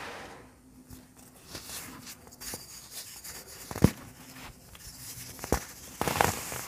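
Both hands squeeze and rub palm-sized, compacted blocks of blue-dyed baking soda powder, solid and crumbly, piled in a loose heap, crumbling them apart between fingertips and palms. Soft, dry crunching and gritty rustling are heard, with several sharper crumbling snaps standing out near the end as the chunks break up.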